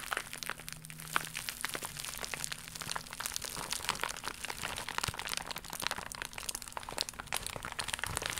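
An iridescent, embossed holographic plastic mailer pouch is squeezed and crumpled in both hands, then scratched with long nails. It makes dense, bright crinkling and sharp crackles that keep on without a break, over a faint steady low hum.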